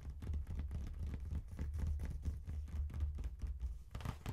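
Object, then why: Faux leather wallet phone case. Fingertips and nails tap and scratch quickly on the top of a small, hollow brown faux leather wallet phone case with a strap closure and metal zipper, resting on a cardboard chocolate box. The result is a steady run of soft, dull, low thuds with a faint scratchy rustle and almost no high-end brightness.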